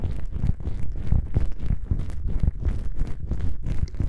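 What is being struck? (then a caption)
Foam microphone windscreen. Long nails scratch two small black foam windscreen covers on a binaural microphone, then fingertips press and rub them. The result is a close, muffled stream of deep rumbling thumps and soft scrapes, with nearly all the sound in the low bass and almost nothing bright.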